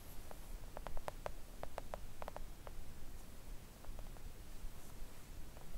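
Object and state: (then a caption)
Silicone mat tapped with nails. Long acrylic nails on both hands tap gently on a flat, thin, solid pink silicone nail art mat resting on a table. Soft, short clicks come in quick clusters and then thin out, dying away almost instantly over a quiet low rumble.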